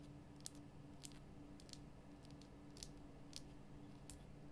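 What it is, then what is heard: Himalayan salt lamp. Long nails tap quickly on the top and sides of a large, lit Himalayan salt lamp made from a solid, rough pink rock-salt crystal block. The taps come through as soft, bright clicks with almost no ring, scattered over a steady low hum.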